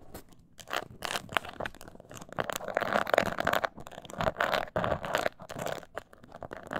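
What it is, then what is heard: Croc-embossed leather mini purse. Long nails scratch the embossed scales of a small, hollow croc-textured leather mini purse held upright. The result is dry, crunchy scraping in rapid bursts, centered in the midrange with bright edges. Louder, harder passages alternate with softer, gentler strokes.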